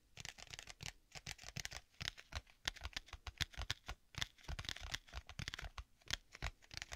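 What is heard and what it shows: Fingertips tap quickly on the cover of a black stitched leather folio tablet case with a strap, held in both hands. The result is a rapid, irregular run of short, dry taps, with crisp high-frequency clicks over soft low thumps.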